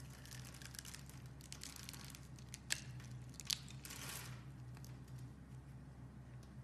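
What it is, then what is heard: Bar soap being cut. A utility knife blade shaves the pre-scored surface of a solid, opaque, hand-sized yellow soap bar into crumbly cubes. Soft, irregular scraping and cutting sounds with dry, bright crinkling run throughout, broken by a couple of sharper crunchy snaps partway through. A steady low hum sits underneath.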